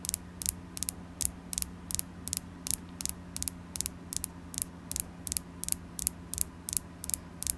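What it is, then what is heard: Carnelian crystal. A carnelian crystal stone is tapped repeatedly, giving about 22 sharp, bright clicks, some in quick pairs, at an uneven pace. Each tap is very short with no ring, heard over a steady low hum.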